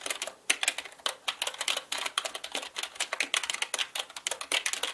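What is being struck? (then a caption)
Plastic mechanical computer keyboard. Both hands type quickly with their fingertips on a black mechanical computer keyboard with plastic keycaps. The result is a rapid, uneven stream of bright, crisp clicks with almost no low end, each keystroke dying away almost instantly.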